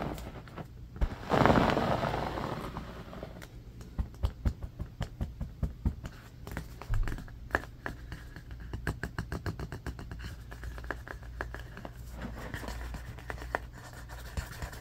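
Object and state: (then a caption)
Bamboo hairbrush back scratched with fingernails. A striped bamboo paddle hairbrush with black bristles lies on carpet while fingernails scratch quickly along its ridged solid wooden back. Dense, uneven runs of sharp scratchy clicks come over a low steady hum, with a louder rushing burst near the start.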